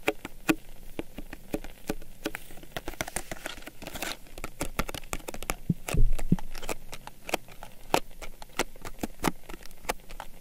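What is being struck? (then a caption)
Small cardboard box holding drink sticks. A small, hollow printed Blendy cardboard box of cocoa drink sticks, with sticks still inside, is held in one hand and tapped and scratched with long nails. Quick, dry clicking taps sound over a soft, papery scratching, each tap stopping almost at once with no ring. A slightly louder cluster of taps comes near the middle.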